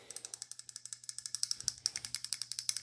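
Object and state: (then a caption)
Loose rattling button on a folding knife. A loose release button on an Upknife Bayonet folding knife rattles as the knife is shaken repeatedly to check whether the blade comes out. About 28 quick, bright, high-pitched clicks sound in a steady rhythm, each dying away almost instantly. The loose button is not behaving as it should.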